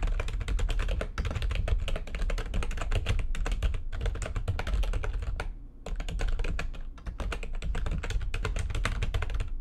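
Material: Plastic.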